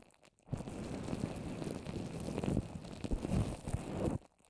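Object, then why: Papier-mâché paper strips over a plastic-wrapped microphone. Long orange nails tap and scratch the wet surface of white papier-mâché paper strips covering a plastic-wrapped microphone, formed into a small rounded hollow shape held in one hand. The result is a dense, muffled, low-heavy stream of sticky thuds and rustling scrapes that starts abruptly after a brief quiet and stops just as suddenly near the end.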